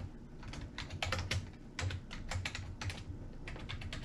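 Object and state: Plastic computer keyboard.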